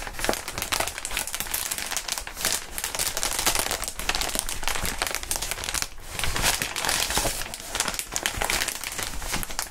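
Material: Plastic.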